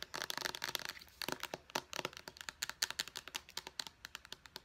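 Long painted nails tap rapidly along the body and purple pump top of a small white plastic face wash bottle, which seems hollow but filled. About thirty crisp, bright, clicky taps come in quick uneven bursts. Each tap is dry and dies away almost at once, with almost no low end.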